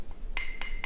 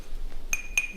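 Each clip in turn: First: Three quick, dull taps on a low-fired clay pot, each dying away almost at once. Second: Three light finger taps on a ceramic pot give a high, brief clink that is still dull, as from low firing.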